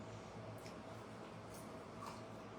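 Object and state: Nothing is struck.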